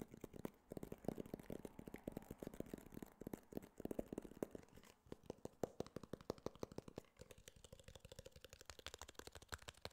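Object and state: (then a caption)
Cardboard box tapped with fingernails. Fingernails tap and scratch a small, hollow, white rigid cardboard iPhone box held in the hand. Rapid, dry clicking taps run throughout the clip, with a faint hollow resonance and soft scratching between them.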